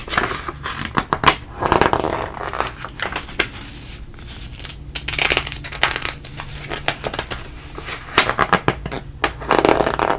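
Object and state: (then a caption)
Glossy magazine pages turned. Fingers flip through several thin pages of a glossy paper food recipe magazine, turning them one after another. Each page turn gives a crisp, papery swish and crinkle with bright broadband bursts, separated by quieter pauses over a faint steady low hum.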